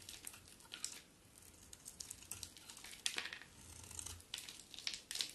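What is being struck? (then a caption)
Bar of soap. A utility knife blade shaves and carves flakes off a solid bar of white soap with a dark coated surface, held in the hand. The cuts make a quiet run of crisp, bright scraping and crinkling sounds with short, sharp peaks and almost no low end.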